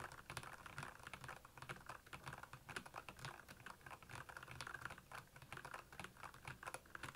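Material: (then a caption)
Plastic. Fingertips of both hands type steadily on the keycaps of a black, backlit plastic Royal Kludge mechanical keyboard. The result is a rapid, continuous stream of short, dry clicks and clacks with bright, crisp tops and a soft low thump under each press.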